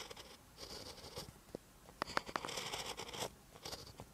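A ballpoint pen tip writes on a lined paper notebook page. Bright, dry scratching strokes come in short bursts, with a few sharper ticks where the pen taps or lifts. The clip is a quiet, close stretch of handwriting.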